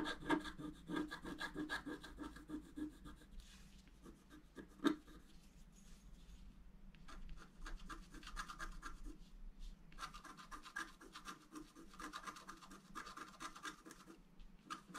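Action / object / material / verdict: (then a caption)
scrape / black-coated scratch art paper scraped with a wooden stylus / coated paper / none. A wooden stylus scratches fill into the fountain column on a flat, black-coated scratch art paper card. Quick, dry scraping strokes come in bursts, with a sharp tap near the five-second mark and a low steady hum underneath.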